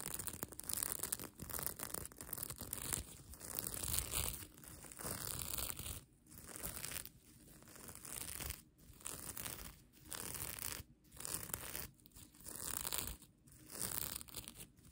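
Long nails scratch across and flip the plastic sequins on the sequin fabric of a mermaid tail blanket. The result is a bright, dense, crinkly rustle of clicking sequins that comes in uneven bursts separated by short, near-silent pauses.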